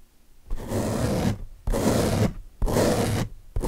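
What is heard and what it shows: Fingertips and short nails scratch and drag across the wavy top surface of a large blue open-cell foam car washing sponge, a soft porous block. Four separate strokes produce a dense, scratchy rustle with a full low body, each ending in a brief quiet pause.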